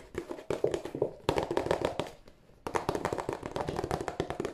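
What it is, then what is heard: Cardboard tissue box. A hollow, glossy cardboard tissue box is tapped on its end panel with the fingertips of both hands, producing about 29 quick, dry taps with a hollow mid-range knock around 400 Hz. The taps come in rapid flurries, pause briefly after about two seconds, then resume steadily. Each tap dies away almost at once.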